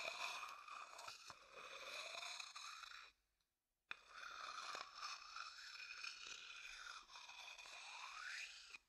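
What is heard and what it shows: A thin wooden stick scrapes and taps the inside and rim of an empty, dark, hollow wooden bowl held close to the microphone. The scraping is bright and crunchy, with a steady tone near 2.5 kHz. It stops for a short silence, resumes with a sharp tap, and ends in a rising scrape.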